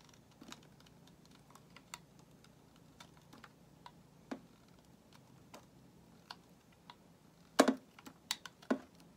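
A solid white bar of soap held in the hand is shaved into thin curls with a metal utility knife blade. Quiet, crisp, irregular scraping clicks sound against a near-silent background, with a few louder, brighter scrapes bunched near the end.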